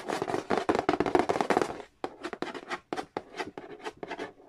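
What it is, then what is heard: Cardboard board game box. Fast fingertip tapping and scratching on the glossy lid of a hollow cardboard Monopoly board game box. A dense burst of rapid, dry scratchy taps fills the first two seconds. It breaks into quicker separate taps and short scrapes with brief gaps between them, each dying away almost instantly.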